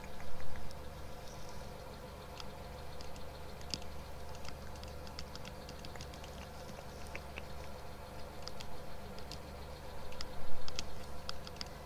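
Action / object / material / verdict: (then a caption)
tap / plastic headphones / plastic / none. Plastic Skullcandy headphones, not noise cancelling and with a little skull on the side, are tapped lightly with quick, scattered, crisp ticks. The taps are short and bright over a steady low hum, with a couple of louder bursts near the start and end.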